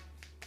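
A spoon cracks the hardened caramelized sugar crust of a crème brûlée right in the middle, exposing the creamy custard underneath. Two short, crisp cracks stand out over a steady low hum. The crack shows the sugar has fully set.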